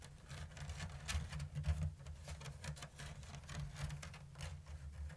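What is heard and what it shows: Long blue nails tap and scratch the thin bamboo strips of a round, hollow woven bamboo lattice basket with an open diamond weave. Soft, quick, dry clicks and brushy scrapes patter along steadily over a low, constant hum.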